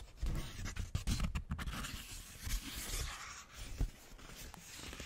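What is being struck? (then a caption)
Thin paper sheet. A crinkled sheet of thin white paper is held up in both hands near the microphone and rubbed and crumpled with the fingertips. Soft, continuous rustling is broken by sharp, bright crackles and crinkles that stop almost at once, over a low, muffled rumble of handling.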